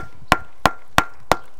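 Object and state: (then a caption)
Stone column, knocked. A stone Roman column at Jerash, a different kind of stone from the arch above it, is knocked on one spot so as not to damage it. Four sharp, evenly spaced knocks each give a brief bright ring near 1 kHz that dies away quickly.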